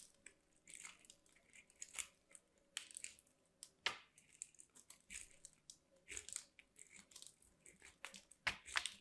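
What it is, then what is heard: Soap bar grated on a metal grater. A white solid soap bar, held by fingers with long black nails, is scraped along a small metal box grater. Quiet, crunchy grating strokes come in a rapid, uneven series of short, bright scrapes with almost no low end and no ring after each stroke.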